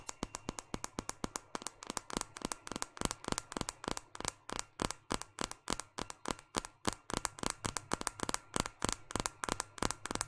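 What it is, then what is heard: Smartphone glass screen tapped with fingernails. A small, solid white smartphone with a glass screen and plastic frame is held upright in one hand and tapped on the glass screen with the long painted fingernails of the other hand. About 54 quick, sharp clicking taps come in a steady, brisk rhythm, each bright and dry with almost no ring, over a faint low hum.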